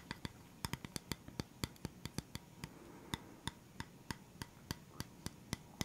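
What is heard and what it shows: Fingertips tap and scratch the surface of a flat, round bamboo wooden stand with black feet, held upright. About 25 short, crisp taps land at an uneven pace, each a dry knock with a low body and a bright click that dies away almost instantly. Faint scratching fills the quiet gaps between them.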